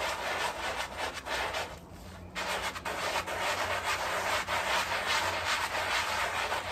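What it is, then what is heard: Wet fabric rug being scrubbed. A gloved hand scrubs a small, soapy, wet fabric rug lying on tile, working a handheld bristle brush in circles over the heavily dirty, muddy carpet. A steady, bright, wet bristle rubbing hiss runs throughout, swelling and fading with each stroke, and briefly softens near the two-second mark before resuming at full strength.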